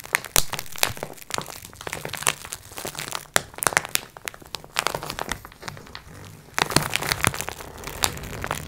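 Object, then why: Multipack of sponge cloths in plastic wrap. Long nails scratch and tap the plastic wrap of a multipack of sponge cloths resting on a wooden table, with one hand moving toward the label edge. Quick, dry crinkling clicks and bright scratchy rustles come in uneven bursts, over a faint steady low hum.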